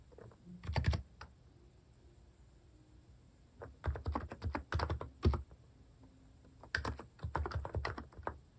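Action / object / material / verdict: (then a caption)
tap / keyboard with plastic keycaps / plastic / none. Fingertips type on a compact capacitive (contactless-switch) keyboard fitted with plastic cat keycaps. Bursts of muted, low, thocky keystrokes come around the first second, again from about 4 to 5.5 seconds, and from about 7 to 8.5 seconds, with quiet pauses between. Each press sounds deep and dull with very little high sparkle and dies away almost at once.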